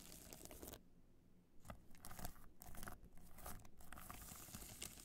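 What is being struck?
Hard-shell clutch covered in rhinestones.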